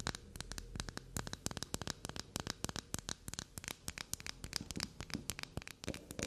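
Long glossy black nails tap and scratch quickly across the top and sides of a small, solid black soap bar standing on a table. A rapid run of short, crisp clicks and bright scratchy strokes follows one another with almost no ring, over a faint low background.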